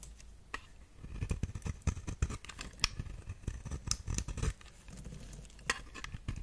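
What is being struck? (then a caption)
Bar of soap cut with a metal blade. A metal blade scrapes and carves shavings off the face of a round, solid brown bar of soap held in the hand. Soft, dry scraping rasps mix with crisp, crackling ticks and a few sharper bright clicks, each dying away almost instantly. Low, muffled thumps sit underneath throughout.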